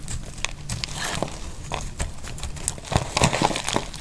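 A metal utility blade shaves thick flakes off a solid, dry, oval yellow soap bar held in the hand. Irregular, crisp scraping and crackling cuts come in quick succession, with sharp, bright snaps over a low, rough rasp and very little ring after each stroke.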